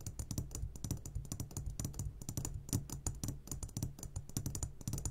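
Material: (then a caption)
Glass. A medium glass jar, turned upside down and full of sugared gummy candies, is tapped on its sides with the short fingertips of both hands. It makes a rapid, irregular run of soft, clicky taps with a low, dull body and bright ticks on top. The taps come in quick bursts over a steady low hum.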